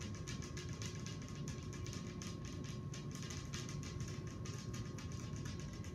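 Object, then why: Glass table top. Very long acrylic nails on both hands, worn with many metal rings, tap rapidly on a large, round, clear glass tabletop made of a thin solid pane. The result is a fast, continuous stream of sharp clicks over a steady low hum.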